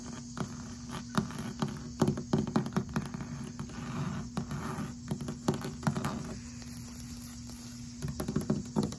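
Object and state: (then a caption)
Plastic outdoor bin. Long red-painted nails and fingertips tap and scratch the molded surface and rim of a large, hollow black textured plastic bin or garden container sitting outdoors on the ground beside grass, its contents not visible. About twenty short, dry clicks and taps stand out over soft scratching and a steady low hum. Each tap dies away almost at once.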